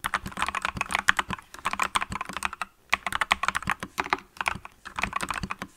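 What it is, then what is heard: Mechanical keyboard with plastic keycaps. Fingertips with long nails from both hands type continuously on a green mechanical keyboard with yellow and green plastic keycaps. The result is a steady stream of sharp, bright plastic clacks that stop almost instantly, broken by a brief pause just before the third second.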